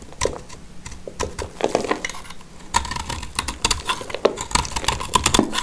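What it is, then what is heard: Dry soap chunk. A black utility knife blade cuts and scrapes a solid, dry, palm-sized blue-green soap chunk held in the hand, breaking it into crumbly flakes. Quick, dry crackling scrapes and bright ticking clicks come in uneven bursts with almost no ring. A faint tonal edge sits in the mids, and the scraping grows denser in the second half.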